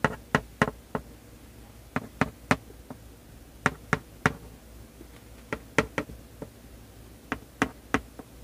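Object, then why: Sealed printed cardboard box. Fingertips and nails tap and rub the front face of a sealed, printed, medium-size cardboard LEGO Star Wars 501st Legion set 75280 box, hollow and full of bagged bricks, lying flat on a baseplate. Short, dry, hollow knocks come in small clusters of two or three, each dying away almost instantly, with faint rubbing and quiet room noise between them.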